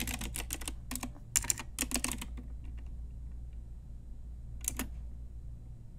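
Long nails and fingertips tap quickly across a full-size pink Ajazz mechanical keyboard with round plastic typewriter-style keycaps on a hollow plastic case. Bright, clicky key taps come in quick bursts for about two seconds, then go quiet over a steady low hum before one last short flurry of taps.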